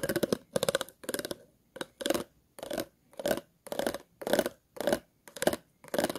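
Scissors scratch along the ridges of an empty, hollow, clear plastic water bottle in twelve short strokes. Each stroke is a rapid run of raspy clicks with a hollow midrange tone near 600 Hz and bright upper hiss, separated by brief silences.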